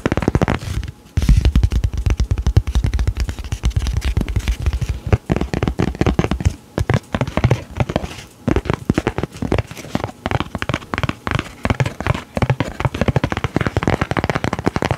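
Fingertips and short nails rapidly tap and scratch the surface of a rectangular, thin, flat laminated paper card with a coated diver illustration, held up in both hands close to the mic. The result is a dense stream of dull, low-heavy thumps and crackly scratches that stop dead with almost no ring. Brief pauses fall near 1, 6.5 and 8.5 seconds.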